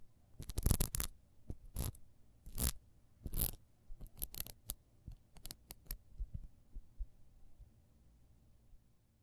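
A solid yellow wax pillar candle with horizontal ribs and a metal disc on its base is held in the hands and scratched with long almond-shaped nails. Quick bursts of bright, dry scratching rasp across the ribs, each with a soft low thump beneath. The strokes are loudest early on and grow lighter and sparser before fading to near silence at the end.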